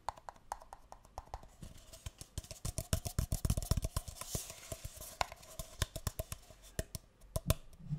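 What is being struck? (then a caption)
Disposable paper cup. Fingertips and nails tap and scratch a single empty, light green speckled disposable paper cup, hollow and held upside down near the mic. Quick, irregular dry taps with a low, hollow thump stop almost instantly, and a soft scratching hiss rises in the middle of the run.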